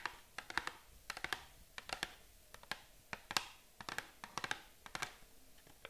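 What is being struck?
Small cardboard box.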